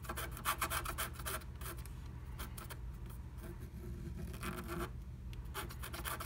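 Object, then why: Coated scratch art paper scratched with a wooden stylus. A wooden stylus held at the fingertips scratches through the coating of a flat, black-coated scratch art sheet inside the heart cutout of a blue plastic stencil laid on top. Quick, raspy scratching strokes come in bursts at the start and again near the end, with quieter, lighter scraping in between over a steady low hum.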